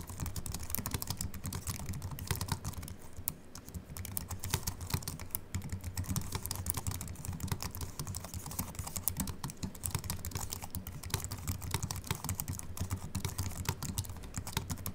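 Continuous two-handed fingertip typing on a slim Apple Mac keyboard with an aluminium body and white plastic keys. Quick, dense key clicks run steadily throughout, with soft low thumps under bright, crisp tapping and almost no ring after each press.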